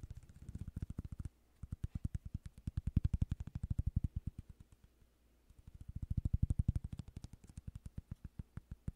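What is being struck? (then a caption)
Cork coaster. Fingertips and nails scratch and tap the surface of a small, solid cork coaster held in the hands close to the microphone. Dozens of quick, soft, low thuds come in rapid bursts, swelling and fading, with two brief pauses. Each tap dies away almost instantly.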